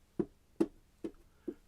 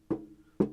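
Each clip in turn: First: Four short, dull taps around 330 Hz that die almost at once: the amplifier lid is well damped. Second: Two taps on a metal amplifier lid give a low hum near 200 Hz that lingers briefly: mildly resonant.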